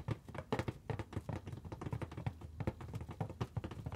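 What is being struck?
Inflated latex balloon.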